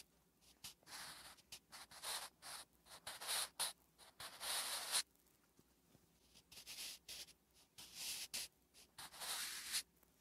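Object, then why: Graphite pencil on a lined paper notebook page. A wooden graphite pencil writes Korean letters on a flat, solid lined paper notebook page. Short, bright scratching strokes come in irregular bursts separated by brief pauses, with a dry, quiet sound and no ring.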